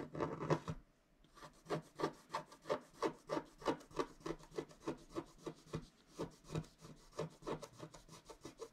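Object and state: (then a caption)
Scratch-art card scraped with a wooden stylus. A wooden stylus scrapes dense strokes across a flat scratch-art card of wax-coated paper, etching the trunk of a tree. A quick run of short, dry scraping strokes repeats at a steady, slightly uneven pace after a brief pause near the start, each stroke ending almost instantly.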